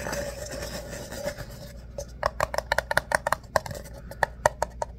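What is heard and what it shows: An empty ribbed paper coffee cup is held upside down while fingertips scratch across its ribbed wall. A dry, continuous rustling scratch in the first two seconds gives way to a quick run of short, sharp ticks and clicks with a faint midrange tone around 600 Hz and bright edges.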